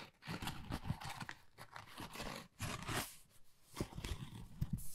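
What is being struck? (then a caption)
Pebble-textured cardboard folder. Long nails scratch across a flat, pale pink, pebble-textured cardboard Dior folder that is thin and hollow. The result is a rough, crunchy scraping with a low, hollow rumble, coming in uneven bursts with brief pauses between strokes.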